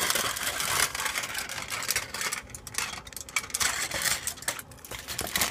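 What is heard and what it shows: A thin, hollow, crumpled sheet of aluminium foil, hand-sized to larger, is held close to the microphone, then crinkled and scratched with the fingertips and nails and spread out. The result is a dense, bright crackle of sharp crinkles and scratches, concentrated in the high range with almost no low end, swelling and easing in bursts throughout.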